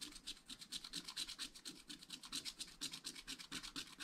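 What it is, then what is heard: Scratch-art paper being scratched. A wooden stylus rapidly rubs and scratches across a black coated scratch-art paper page in a spiral pad. The result is a quick, fairly uneven run of short, bright, raspy strokes with almost no low end. Each stroke dies away almost instantly.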